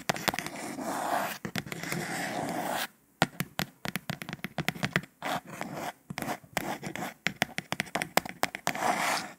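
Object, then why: Kraft cardboard tube. Long nails scratch and scrape along the printed surface of a hollow, cylindrical kraft cardboard tube made for almond dragees. A dry, papery scrape runs for about three seconds and stops briefly, followed by quick bursts of short, bright scratches and ticks. Sustained rasping returns near the end.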